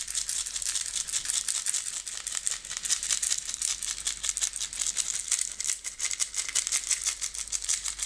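A clear plastic jar with a white lid, nearly full of green and blue decorative stones, is shaken by hand so the stones rattle inside. The result is a dense, steady stream of bright, crisp clicking and rattling in quick pulses, almost entirely high-pitched with almost no low end.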